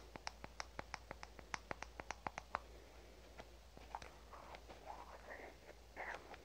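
A fingernail taps and scratches on the body of a red aluminum spray can held in both hands. A quick, even series of short, bright metallic ticks comes first, then softer scattered taps and brief scratchy rubs. It is all quiet over a steady low hum.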